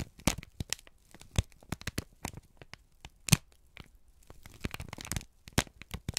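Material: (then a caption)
Paper. A folded, crinkled brown kraft paper sheet is held in both hands and squeezed and crumpled with the fingertips. It gives a quick, irregular run of sharp, dry crackles and crinkles with bright edges, separated by short quiet gaps, and each snap dies away instantly.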